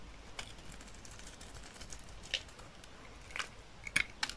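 A thin remaining slab of dry olive-green soap, held in the hand, is shaved with a utility knife blade. The quiet, steady scraping is made of bright, dry ticks. A few sharper crisp snaps toward the end have almost no ring.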